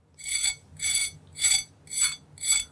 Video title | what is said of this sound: I’ll Never Make Fries Any Other Way Again! - Beef Tallow Fries Recipe | run my knife over just so you can hear how crispy the outside of this is